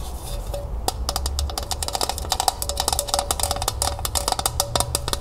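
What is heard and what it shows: Long nails tap quickly on the hollow body of a small, empty, striped, glossy tin pail with an orange ribbon handle, held sideways. A rapid, uneven run of sharp, bright clicks carries a faint metallic ping near 770 Hz. Each tap dies almost instantly over a steady low rumble.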